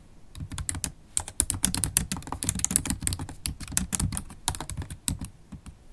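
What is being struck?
Laptop keyboard, plastic keys in aluminum body.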